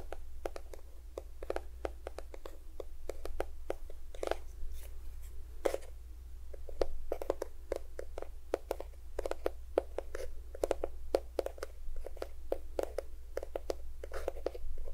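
A small cream-yellow plastic squeeze tube of lotion, hollow and at least partly filled, is held next to a binaural recorder and tapped with fingertips and nails. A quick, irregular run of short, dry clicking taps with a hollow mid-pitched knock dies away almost instantly, over a steady low hum.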